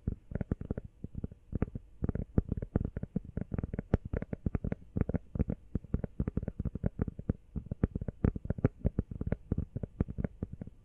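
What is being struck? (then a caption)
Rubber phone case. A small, hollow, empty teal rubber phone case, mostly covered by hands, is tapped fast with long nails close to the microphone. The result is a steady, rapid run of soft, dull, low thumps with almost no ring and no bright edge.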